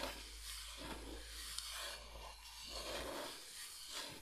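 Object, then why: Bamboo cutting board. A large, flat, solid bamboo cutting board shaped like Michigan is slowly scratched and rubbed with long nails. The sound is a soft, continuous, bright rasping hiss that swells and fades in slow waves, with a faint low hum underneath.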